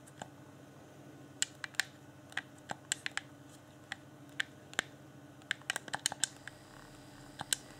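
A fingertip taps and clicks the buttons on a hand-sized, hollow, transparent plastic Xbox One Afterglow game controller lit with a blue LED. About twenty short, sharp, bright clicks come at irregular intervals, each dying away almost instantly over a faint, steady low hum.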